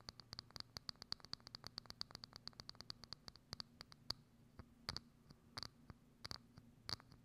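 Long acrylic nails rapidly tap and scratch on a hollow, thin, transparent plastic dome lid placed over a microphone. 37 short, sharp clicks come in a quick run that slows toward the end, each with a bright, thin plastic tick. A faint low hum stays underneath throughout.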